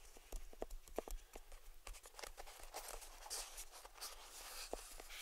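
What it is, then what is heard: Cardboard gift box tapped and scratched. Fingertips of both hands tap and scratch the lid of a small, hollow cardboard gift box resting on a table, working around the ribbon bow. Quick, dry, hollow taps with a mid-pitched knock land in an uneven rhythm over a continuous bright, scratchy rustle, all at a quiet, close level.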